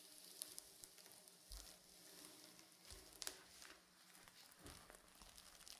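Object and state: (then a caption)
Sequin fabric pillow being scratched. Fingernails scratch and brush across the surface of a reversible blue and silver sequin pillow, making a quiet, bright, crackling rasp like a soft sizzle, broken by sharp little clicks as the sequins flip. At the end, hands grip the edges of the pillow.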